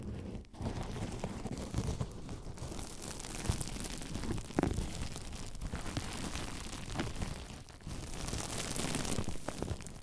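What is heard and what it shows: Clear plastic bubble wrap resting on a microphone is scratched by fingertips across the bubbles, then gathered and crinkled in both hands. The result is a dense, continuous crackling and rustling with a heavy low rumble from contact with the mic, with brief dips in the sound near the start and around eight seconds.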